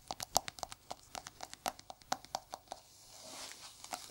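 Gloved fingertips tap on the white lid and sides of a small, hollow, round white plastic jar held in one gloved hand, making about twenty quick, dry, hollow clicks with a bright tone in an uneven rhythm. After the taps stop, a soft, rising, bright hiss fills the last second or so.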